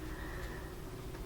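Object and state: Nothing is struck.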